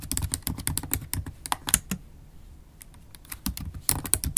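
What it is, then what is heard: Laptop keyboard with plastic keys. Long acrylic nails type fast on a MacBook Pro keyboard, with black plastic keys set in an aluminum laptop body. Rapid bursts of short, bright clicking taps carry a soft low thump underneath. The typing pauses briefly near the middle, then resumes.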